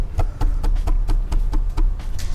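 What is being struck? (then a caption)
Subwoofer cabinet. Hands tap repeatedly on the enclosure of an SVS PB17 Ultra Evolution subwoofer, a mini-fridge-sized cabinet weighing about 165 lbs with a 17-inch woofer and 6,000 W. Each tap is a dull, deep thud with almost all energy in the low bass and a brief ring.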